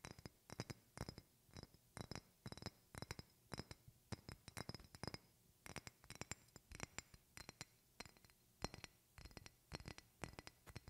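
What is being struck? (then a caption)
Glass perfume bottle. A medium rectangular glass perfume bottle with a flower decoration is held close to the mic and tapped with long painted fingernails. Quick bursts of clear, bright glass clinks come in irregular clusters across the clip. Each tap dies away almost instantly over a quiet background.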